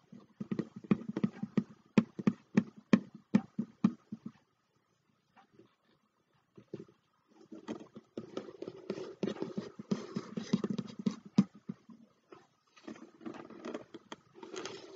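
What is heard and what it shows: Fingertips and short nails tap and scratch the printed paper cover of a thick, closed, medium-sized hardcover book (or book-style box) with an antique map design, resting on a dark tray. Quick, dull taps come in a dense run, then a near-silent pause broken by a few soft knocks. Busier scratching and tapping follows, with a brief lull before it resumes.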